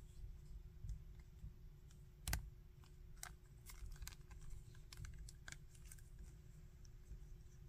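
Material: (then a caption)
Hard plastic. A small hard-plastic articulated Bardock action figure has its leg and arm joints flexed by fingers, producing sharp, bright ratcheting clicks scattered across the clip. One louder snap stands out near the start, over a steady low rumble and a faint hum.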